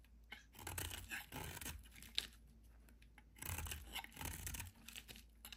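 A solid yellow oval bar of soap, held in the hand, is carved and shaved with a metal utility knife blade, and chunks fall away. Crisp, dry scraping and crunching strokes come in uneven bursts, bright and rough with a low rumble underneath, separated by quiet pauses.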